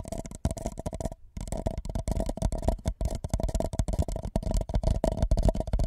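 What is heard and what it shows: An empty white paper cup held over the microphone is lightly tapped and rubbed with the fingertips of both hands. The result is a fast, continuous patter of soft, hollow, low thumps with a faint resonant tone, broken by a brief pause just after the first second.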